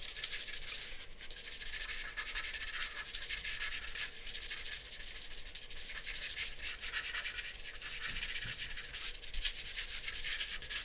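A charcoal pencil hatches and rubs across a flat sheet of drawing paper resting on a board. The result is a continuous dry, scratchy rasp, bright and hissy, with quick back-and-forth strokes that rise and fall slightly in loudness without breaking into separate hits.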